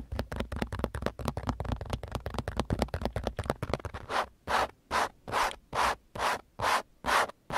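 Fingertips and nails scratch a thin, flat grey car sun visor with a fabric/vinyl cover and a vanity mirror flap while it is held. Rapid, dense scratching for the first four seconds gives way to slower, separate, longer scratching strokes with brief gaps between them.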